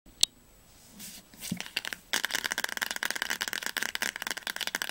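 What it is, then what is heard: Paperback book spine. Long nails tap quickly on the spine of a teal paperback novel, *Das Labyrinth erwacht*, held upright. A single sharp click and a few soft rustles come first, then from about two seconds in a rapid, steady stream of bright, dry ticks runs to the end.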